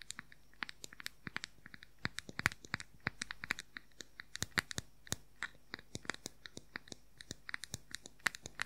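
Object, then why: Small round plastic powder compact. Fingernails scratch and tap quickly on the lid of a small, round, hollow plastic makeup powder compact. The result is a rapid, irregular stream of sharp, dry clicks that die away almost instantly, with a bright hollow ring centered near 2 kHz and light scratchy texture between the taps.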